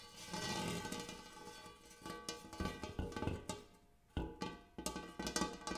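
Fingertips and nails tap the dimpled interior of a large, shallow, empty gold hammered metal bowl. The result is a quiet, irregular run of light clicking taps over a soft, sustained metallic ring with steady mid and bright overtones. After a brief lull, the clip ends with firmer taps from both hands.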